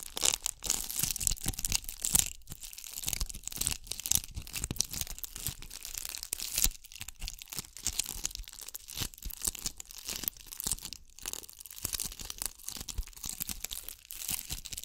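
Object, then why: Ball covered in glass bugle beads. A ball covered in bugle beads is held above and beside a microphone and scratched with long acrylic nails. It makes a dense, continuous run of bright, crackling scratches and tiny clicks, rising and falling in quick bursts. The sound is dry, with no ring after each scrape.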